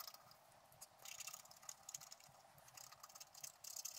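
A wooden stylus scrapes the wax coating off a flat scratch-art card, uncovering a squirrel's legs and body while the other hand holds the sheet steady. The sound is a quiet, bright, hissy scratching that comes in short, uneven bursts with almost no low end.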